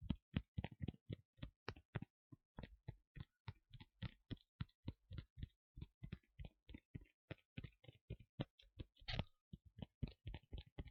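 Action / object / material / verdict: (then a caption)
tap / leather costume piece / leather / none. Tapping and scratching on the leather parts of a Rey cosplay costume, tapped because leather sounds are nice. About 47 quick, dull taps, most of their weight low, fall in an uneven, steady rhythm. Each dies away almost at once, with a slightly longer brushing scratch near the nine-second mark.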